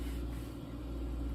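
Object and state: Nothing is struck.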